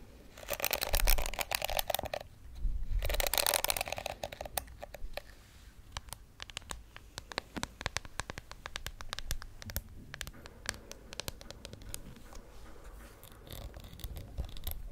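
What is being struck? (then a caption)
Plastic detangling hairbrush. Long acrylic nails scratch the plastic bristles of a hand-sized pink plastic detangling hairbrush with a hollow shell, making two dense, bright, raspy bursts. They then tap and scratch the smooth back of the shell in a quick, uneven run of light, crisp clicks with a soft, low hollow undertone.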